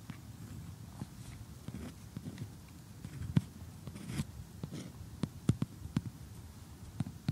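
Metal tweezers poke and pick at the pieces of a cardboard jigsaw puzzle of a cottage and tree on a table, with fingernails resting nearby. Quiet, low rustling and scraping gives way to a series of sharp, dry clicks and ticks that stop instantly, mostly in the second half.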